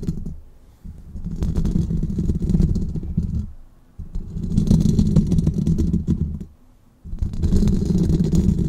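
Fingernails on both hands rapidly tap and scratch the hollow metal wire-mesh grille of a large silver condenser microphone. The result is a dense, low, thumping clatter in three long bursts separated by short pauses.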